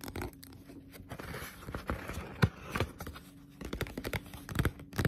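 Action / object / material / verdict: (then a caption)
tap / paperback book, paper with glossy cover / paper / none. A Naruto paperback manga, a solid paper book with a glossy cover, is held up and then laid flat while long pointed nails tap and scratch it. Quick, uneven taps mix with papery scratching and tearing-like rasps, mostly low and dull with short, clicky attacks and no ring.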